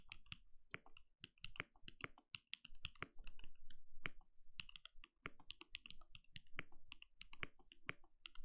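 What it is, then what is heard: Mechanical keyboard with plastic keycaps. Steady typing with the bare fingertips of both hands on a compact, RGB-lit mechanical keyboard with a translucent plastic case and plastic keycaps, resting on a desk. Quick, crisp keystrokes follow one another in a dense, uneven rhythm, each a short bright click over a soft low thud that dies away almost instantly.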